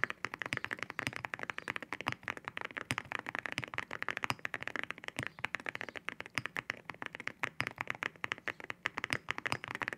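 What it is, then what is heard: Mechanical keyboard with ceramic keycaps. Fingertips type steadily on a white mechanical keyboard fitted with ceramic keycaps, producing a rapid, continuous stream of sharp, bright clacks. Each keystroke is a crisp, dry tick centered in the upper mids with almost no ring and very little low end.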